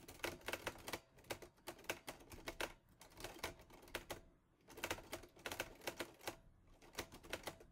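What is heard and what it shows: Fingertips type rapidly on the keys of a mint-green Olivetti Lettera 22 portable typewriter with a metal body and paper loaded. Quick bursts of sharp, bright metallic key clacks come in runs, with brief pauses between them. Each strike snaps off almost at once over a faint low mechanical rumble.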